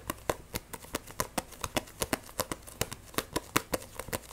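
Fingernails tap fast and grip an Edens Zero paperback manga with a solid, glossy cover. About two dozen short, dry clicks with almost no ring come in a quick, uneven rhythm, each a bright tap with a papery mid-tone body.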